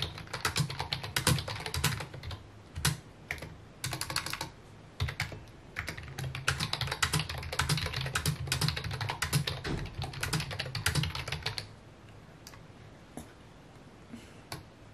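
Fingertips type rapidly on a full-size white and mint plastic keyboard with hollow key housings, resting on a wooden desk. The irregular bursts of clacky taps pair a low, hollow thock with bright clicks. The typing thins out around twelve seconds, leaving only a few scattered taps.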